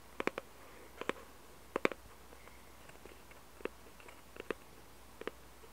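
Long red-painted nails tap and scratch a small, hollow cardboard jigsaw puzzle box held close to the mic, on both its picture side and its barcode side. About twelve crisp, hollow taps come in quick clusters of two or three, with faint scratchy rustling between them over a quiet background.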